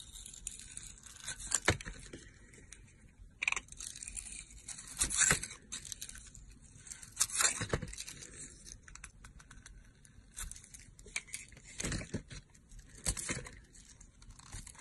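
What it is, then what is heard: Glitter bar soap being scraped. A yellow-handled metal cutter slices and scrapes the glitter layer off a solid blue bar of soap with blue and purple glitter stripes, held in the hand. It makes a steady run of bright, crisp, tearing scrapes, with louder bursts at intervals as the blade cuts through.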